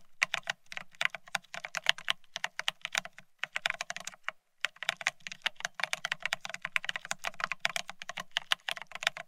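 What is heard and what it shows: Fingertips of both hands type fast on a full-size beige split ergonomic keyboard with plastic keycaps, set on a solid desktop. The result is a rapid, dense stream of sharp, bright clicks with very short ring, a brief pause near the middle, and a faint low hum underneath.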